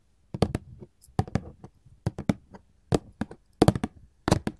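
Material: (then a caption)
Cardboard. A printed paperboard candy box is tapped with long gold filigree metal claws, heard in close-up. Quick, dry clicking taps come in short clusters separated by brief pauses. Each tap dies away almost at once, with a hollow, papery low body under crisp bright clicks.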